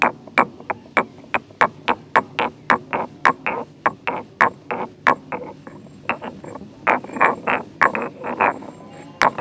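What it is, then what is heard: Stone mortar and pestle. A solid stone pestle is rotated and ground by hand inside a hollow, grey carved stone mortar. It makes a steady series of short, dry stone-on-stone knocks and scrapes, each with a brief ringing tone around 1.1 kHz and bright high edges, but almost no low end.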